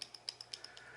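A Microtech steel out-the-front automatic knife is shaken, and its loose blade rattles in seven quick, bright metallic clicks with almost no ring. The blade has play and moves in the handle.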